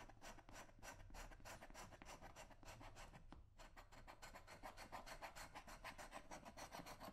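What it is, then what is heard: Leather work boot being scraped. A thin metal scraper held in the hand is dragged over the toe and welt edge of a brown leather work boot worn on a foot, in repeated short strokes. The result is a steady run of dry, bright rasping scrapes at about three strokes per second, with a brief pause near the middle before the strokes resume.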